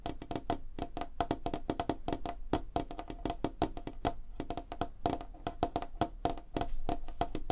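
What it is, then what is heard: Light wooden tabletop. Long fingernails tap rapidly on a large, flat, solid light-wood tabletop, including single-finger nail taps. The result is a fast, irregular stream of short, dry clicks with a woody knock and a faint tone near 690 Hz. Each tap dies away almost at once.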